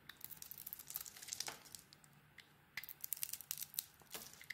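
A metal blade scrapes the green dotted coating off a solid translucent bar of soap held in the hand. The sound is a quiet, bright, crackling scrape made of many tiny crisp ticks, in two bursts separated by a short lull.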